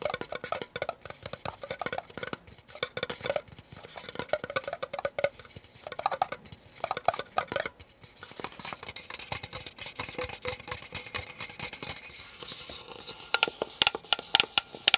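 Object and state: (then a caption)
Plastic cup tapped and scratched. Fingernails tap and scratch the base and sides of a small, empty, hollow disposable white plastic cup held in the hands, squeezing it slightly. Rapid, dry, bright clicks and scratchy rustles follow one another with almost no ring, growing busier and sharper toward the end.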